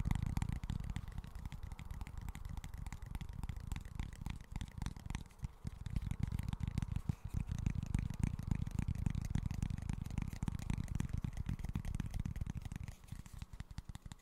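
A small, flat cork board held upright is tapped and scratched with fingertips and nails. The result is a dense, irregular stream of soft, dull tapping and scratchy rustling that stays heavy in the low end, with no ring after each touch.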